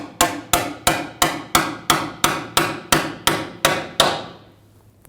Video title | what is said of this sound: How to Replace Rear Wheel Bearings 2009-2011 Ford F-150 | heard that noise difference that means it's bottomed out